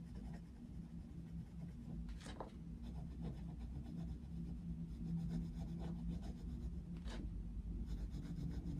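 A wooden coloured pencil is stroked back and forth across the paper page of a colouring book, lying flat on a white desk, while colouring in a picture of Mickey Mouse. The steady rubbing and scratching sits over a constant low hum, with a few brighter scratchy strokes standing out.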